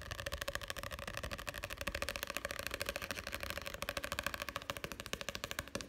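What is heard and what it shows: Fingertips tap and scratch rapidly on the printed pages and page block of an open, solid paperback book with paper pages. The result is a dense, fast stream of short, dry, papery taps with a bright scratchy texture and almost no ring.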